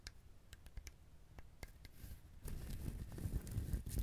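Fingertips and nails tap and rub the husk of a whole, brown, fibrous dried husked coconut. Soft, dull, low taps with short bright clicks come first, then give way to denser, louder scratching and rubbing across the fibers.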